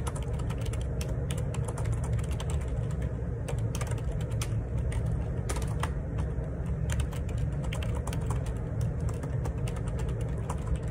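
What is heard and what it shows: Fingertips type fast on the plastic keycaps of a black plastic Perixx Periboard 612 wireless Bluetooth split ergonomic keyboard resting on a grey table. A dense, steady run of short, sharp key taps with bright clicks sits over a constant low rumble for about eleven seconds.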